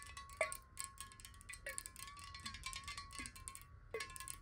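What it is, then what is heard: Glass water bottle. Long acrylic nails tap quickly on a large, clear glass water bottle, hollow and partly filled with water, held horizontally in both hands. Quiet, bright clicking taps run continuously over a steady, chime-like glassy ring, and the few harder taps briefly sound a lower, short-lived ringing note.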